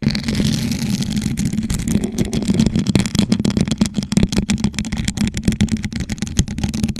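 A hollow, gold rhinestone-studded plastic tumbler sits upside down over a microphone while long nails on both hands rapidly tap and scratch its surface. The result is a dense, continuous stream of sharp clicks and scraping over a steady low, hollow resonance around 190 Hz.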